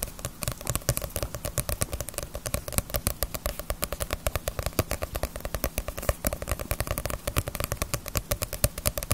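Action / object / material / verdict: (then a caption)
tap / paperback book with glossy paper cover / paper / none. Long nails tap rapidly and steadily on the glossy paper cover of a small, solid Naruto paperback manga volume held upright. The quick, crisp, dry taps die away almost instantly, over a steady low hum.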